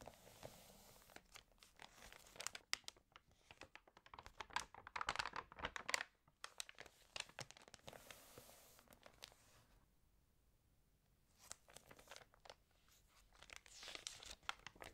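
Fingertips rub across the surface of an open, water-damaged glossy-paper magazine and flip its thin pages, producing dense, bright crinkling and rustling with sharp papery snaps. The sound comes in quick bursts, goes nearly silent for a moment partway through, then resumes with more page handling.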